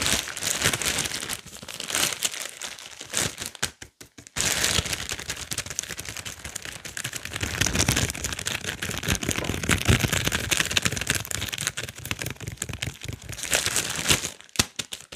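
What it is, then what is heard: Plastic bag of carrots. A clear plastic bag full of whole carrots, tied with blue plastic, is held up and squeezed so the bag crinkles under the fingers. Dense, bright crackling and rustling runs almost throughout, with brief pauses near 4 seconds and just before the end.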